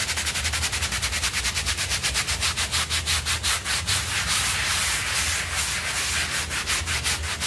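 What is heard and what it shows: A bristle hand brush scrubs a small blue synthetic pile rug that is wet and foamy on a floor. Rapid, rhythmic back-and-forth strokes make a bright, hissing scrub with a faint low hum underneath. Partway through, the strokes blur into a nearly continuous rasp.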